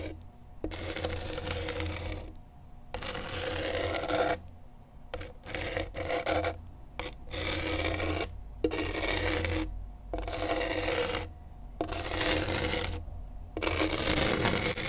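A pen tip held in a gloved hand scratches across coarse grip tape on a skateboard deck. Bright, gritty rasping comes in repeated bursts, each a few seconds long, separated by short quiet pauses. A steady low hum runs underneath throughout.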